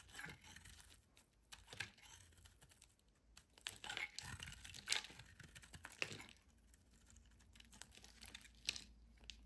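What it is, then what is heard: Bar soap being shaved with a blade. A solid yellow oval bar of soap, held in the hand, is carved and shaved with a metal utility knife blade, and chunks fall away. Quiet, bright scraping and crisp tearing cuts come in uneven bursts, with short crumbly crunches between them.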